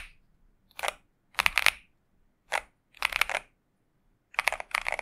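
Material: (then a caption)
Plastic. A pink 65% Xinmeng M71 mechanical keyboard with TTC Superman switches and plastic keycaps is typed on steadily with the fingertips of both hands. Quick bright clacks come in short, clustered bursts separated by brief silences, each stroke dry and short with almost no low end.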